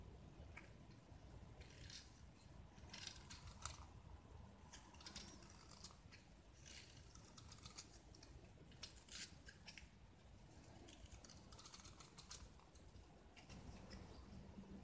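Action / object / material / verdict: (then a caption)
scrape / gypsum block / gypsum / none. A small, solid white gypsum block with red painted edges is held in the hand and scraped and carved with a metal utility knife blade. Quiet, dry scraping strokes come in irregular bursts of crisp, bright scratching over a steady low background rumble.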